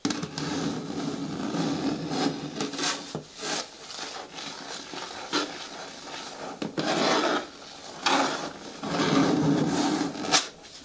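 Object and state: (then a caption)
Plastic bin scratched with nails. Long nails scratch the lower sides and front of a hollow, medium-hard green plastic bin with a lid, making a continuous dry rasp. The sound swells into louder, brighter bursts of scraping and then eases back to a softer rub, with a midrange body and faint hollow resonance from the bin.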